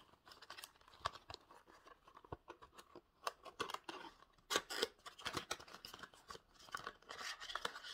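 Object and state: Cardboard product box.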